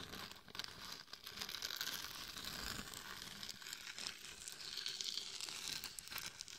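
Long nails and a hand rub and scratch the face and top of a glitter-covered hollow mannequin head microphone. The result is a steady, bright, crinkly scratching texture with many small gritty ticks and very little low end.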